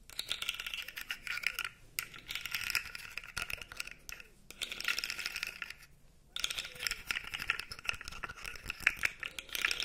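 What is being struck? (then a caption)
Plastic articulated fidget slug toy. A light-blue plastic articulated fidget slug toy is held dangling while its segments are flexed and shaken. This produces a dense, bright clicking rattle that comes in bursts, with brief pauses near 2, 4 and 6 seconds.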